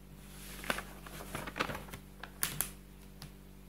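Fingertips rub and slide across the pages of an open paper textbook about buildings, lifting the page edges to turn them. The result is soft, dry papery swishes punctuated by sharp, bright crinkling snaps, over a steady low hum while a background clock stays untouched.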